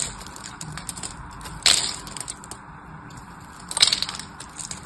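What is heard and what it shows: A single solid orange-and-white striped bar of dry soap is held in the hand while its surface is scored and scraped with a small metal knife blade, chipping off crumbly cubes. Dry, bright scratching and crackling runs throughout, broken by two louder, sharper crunches as pieces break away.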